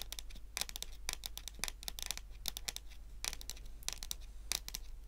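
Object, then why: Wooden tabletop. Natural long nails tap and scratch across a solid, dark wood-grain tabletop. Quick, bright clicks with very short ring come in irregular clusters over soft scratching and a steady low hum.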